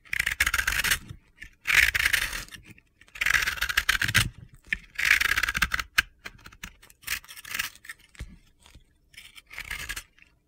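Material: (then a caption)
Soap. A utility knife blade scrapes gritty, crumbly layers off a hand-sized, flat-cut, yellow and pink dry powdery soap ball (bath bomb) held in the hands. Bursts of dry, crunchy scraping come in repeated strokes, bright and hissy with a peak in the upper mids, separated by short pauses and lighter scratches.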